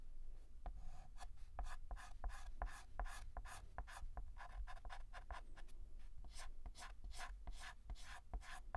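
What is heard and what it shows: A hand fills in a letter on a large, flat, black painted blackboard with a stick of white chalk, making rapid ticking short strokes. Each stroke is a quick, dry scratch-tap with a bright edge, repeating steadily over a constant low hum.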